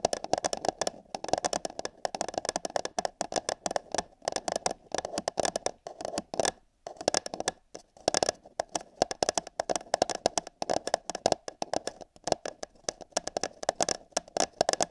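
Long nails scratch and tap the wall of an empty, hollow paper cup held over a binaural microphone ear. A dense, rapid stream of dry scratches and quick taps carries a hollow midrange resonance with bright crackle on top. It continues with brief pauses near 6.5 and 8 seconds.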